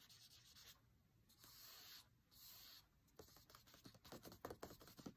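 Fingertips and nails trace and tap over a thick dark green printed divider page in an open cookbook. Soft papery scratching gives way to two longer, smoother rubbing strokes, then a quick run of light, dry taps with a bright papery edge. The sound stays quiet throughout.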